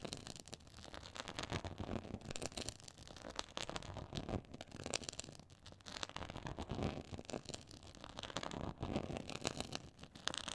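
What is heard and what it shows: Long acrylic nails scratch across a black quilted faux leather board with a raised pyramid texture. The result is a quiet, dense, continuous crackling and scraping made of many rapid strokes, spread across low and bright frequencies.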